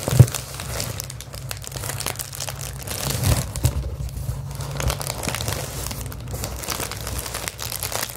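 Rolled clear plastic bubble wrap is squeezed, crinkled and scratched with long acrylic nails. Steady, dense crinkling and scratchy rustling fill the clip, with a low rumble underneath, bright crackly texture on top, and a few sharper crunches near the start.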